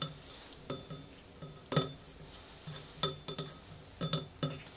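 Fingertips and nails tap around the hollow brass hopper bowl and upper rim of a small antique manual coffee grinder with a white ceramic body labelled CAFE and a wooden base and drawer. The result is a series of bright, short metallic clinks with little low end over a faint background hiss.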